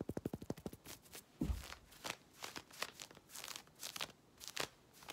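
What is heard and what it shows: Long red nails scratch quickly over worn black synthetic stretch leggings with a printed logo waistband. A rapid run of sharp, crackling scratches gives way to a low thump and then slower bursts of bright, rasping strokes across the fabric.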